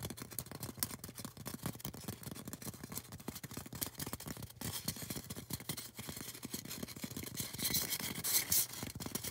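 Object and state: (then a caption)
Polystyrene foam cone. Long orange acrylic nails scratch and tap rapidly on a tall, solid, white polystyrene foam cone. The result is a dense stream of dry, short clicks and bright scratchy hiss with no ringing. Near the end the scratching grows louder and brighter.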